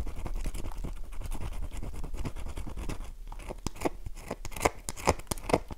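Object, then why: Bar of soap. A solid, oval, light-blue dry bar of soap held in the palm has its face scratched with long nails, carving grooves and shaving off flakes. A dense, steady run of dry, rasping scratches gives way to sharper, crisper scrapes that come in separate, louder strokes toward the end.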